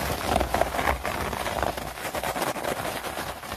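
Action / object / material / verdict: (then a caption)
scrape / synthetic plastic turf mat / plastic / none. Long nails scratch and tap fast across a synthetic plastic turf mat (artificial grass mat), giving a dense, crackly rustle of plastic blades. Quick, irregular taps and scrapes run together into a continuous bristly texture with a faint low thump underneath.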